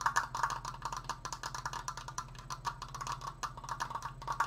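Fingertips tap rapidly on a wooden Triforce decoration, producing a quick, uneven run of short, dry clicks. The knocks centre around 1.1 kHz with a little high brightness, each dying away almost at once, over a faint steady low hum.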